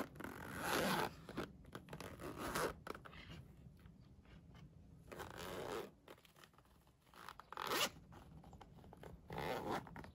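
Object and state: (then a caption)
Fabric pencil case with plastic coil zipper. A flat Minion-print polyester pencil case with a yellow nylon coil zipper is held up close in the hand while fingers zip and unzip it. Five raspy, bright zipping strokes stand out, separated by quieter fabric rustling and soft handling sounds.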